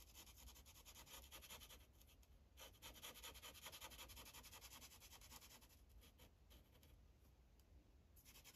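The felt tip of a magenta Sharpie marker, held in the fingers, rubs back and forth across a thin white printed coloring page clipped to a translucent plastic clipboard. The result is a quiet, steady, bright scratchy rubbing in quick rhythmic strokes, with short gaps near the middle and end over a faint low hum.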